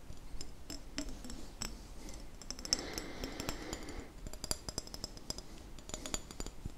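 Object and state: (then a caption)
Small glass jar tapped with fingernails. A small hollow glass jam jar with a red-and-white checkered metal lid and a label is held up in one hand while fingertips and nails tap its glass sides. The taps come as a quick, irregular series of short, bright clinks that stop almost at once, over a low background hush. A denser rubbing, scratchy stretch fills the middle of the clip.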